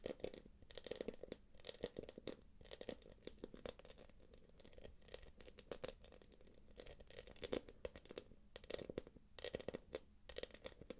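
Long acrylic nails tap and scratch the puffy surface of a small, hollow, light-blue quilted glossy plastic purse. The result is a quiet, continuous flurry of quick, crisp taps and crinkly scraping strokes, with a hollow mid-range tone and bright, scratchy edges.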